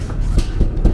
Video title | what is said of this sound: nicki & enteng partner sa work / update sa powder coating #diy #diyprojects #hobby #powdercoating # | Pag naka heat proof na, wala ka nang maririnig na tunog latang